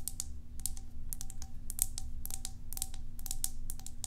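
Long acrylic nails tap rapidly on a small, hollow, cylindrical white plastic tub with a green label and its lid on, held in one hand. The taps are short, bright clicks in an irregular, keyboard-like patter that die away almost instantly, over a steady low hum.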